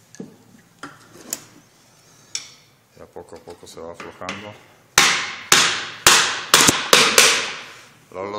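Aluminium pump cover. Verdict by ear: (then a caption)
Loose. Light hammer blows strike the aluminium cover of a centrifugal water pump to free it, kept gentle so the aluminium does not break. Scattered soft taps and a run of quick small knocks give way to louder, sharper, bright metallic cracks in the second half, each with a short ring. The sound changes as the cover starts to loosen.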